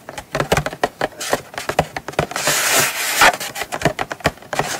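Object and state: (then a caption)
Cardboard box scratched and tapped with nails. Long nails scratch and rub the lid and side edge of a small, closed, hollow brown kraft cardboard gift box. Quick, dry, papery scratches come in short bursts, with a longer stretch of rough, bright rubbing in the middle. Each stroke stops dead with almost no ring.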